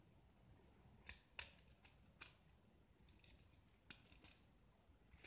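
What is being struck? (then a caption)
Gypsum block scraped with a metal blade. A metal utility-knife blade scrapes and carves the white interior of a small solid gypsum block with a red painted grid coating, held in one hand, into curled shavings. Quiet, bright, dry scraping and crisp cutting strokes come in irregular bursts, with a few sharper snaps standing out above a soft background hiss.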